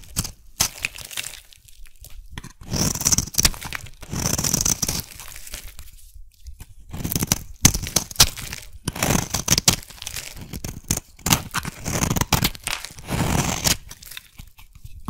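A metal blade scrapes and carves a solid, hand-sized green rectangular soap bar, shaving off thin curls. Repeated bursts of dry, crunchy, tearing scrapes alternate with short pauses, with a bright, hissy texture over a soft low body.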